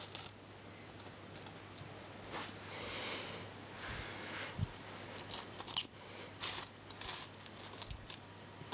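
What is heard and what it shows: A pile of mixed copper and silver metal coins on carpet is sorted and pushed together with fingertips and nails. Soft sliding shuffles give way to sharp, bright clicks as the coins tap against each other, over a faint steady low hum.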